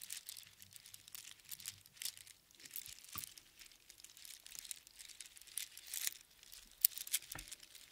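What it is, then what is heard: Strand of seashells on string. A heap of small hollow seashells on a string is held in both palms and gently shaken and rolled, so the shells clatter against each other. The result is a quiet, continuous, bright crinkling patter of many tiny overlapping clicks with almost no low end, with a couple of sharper clicks standing out near the end.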